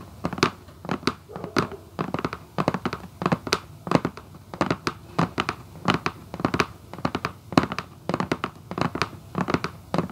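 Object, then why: Cardboard shoebox lid. Long acrylic nails on both hands tap and scratch the printed lid of a hollow red Vans cardboard shoebox. Quick, dry, clicky taps come in irregular rapid bursts with a hollow low-mid thump beneath them, and brief scratchy rasps fall between the taps. Each tap dies away almost instantly.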